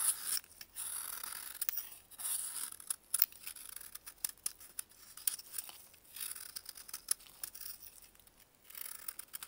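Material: Baking soda.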